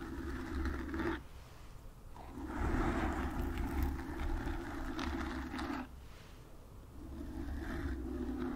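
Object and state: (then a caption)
Foam microphone windscreen being scratched. Long nails scratch a black foam windscreen on a microphone from above and the front, producing a dense, rough, muffled scratching with a deep rumbling low end. The scratching comes in three sustained bursts separated by quieter pauses.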